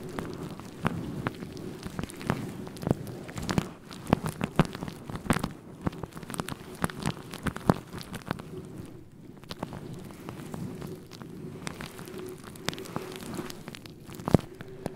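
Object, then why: Synthetic fur microphone windscreen. Fingertips rub and scratch directly on a fluffy grey-white synthetic faux fur windscreen covering a microphone. The result is a dense, close, crackling rustle with many sharp scratchy ticks over a muffled, low-heavy wash and a faint steady low hum.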